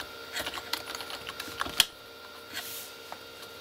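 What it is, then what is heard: Plastic keyboard being typed on. A full-size Corsair K35 keyboard with red-backlit plastic keys is typed on with the fingertips of both hands. Quick, bright clicks and clacks come in an uneven flurry, with one sharper loud strike near the middle. The sound falls to a soft, quiet hiss with a few faint taps.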